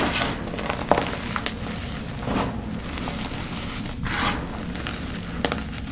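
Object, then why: Crumbly gym chalk powder and chunks in a bowl. Bare fingertips and hands dig into a large black bowl of loose, crumbly teal gym chalk powder and small chunks of crushed, reformed chalk, squeezing and rubbing it. Soft, steady crunching and crumbling runs throughout over a low rumble. Occasional sharper, brighter crackles stand out as the chalk breaks apart.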